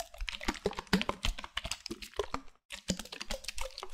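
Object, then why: Plastic milk bottle. A medium opaque white plastic milk bottle with a black cap, hollow and likely full of milk, is held in the hand and tapped with fingernails and fingertips. Quick, dense clicks and soft thuds run almost continuously, with a low hollow body tone and bright nail ticks, and one brief silent gap before the tapping resumes.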